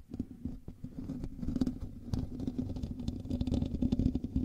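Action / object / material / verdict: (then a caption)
scrape / metal mesh microphone grille / metal mesh / none. Fingernails of both hands scratch the hollow metal mesh grille of a black microphone. The result is a dense, continuous run of rough scraping and crackling with a heavy low rumble and a steady hum-like tone around 250 Hz, swelling slightly louder toward the end.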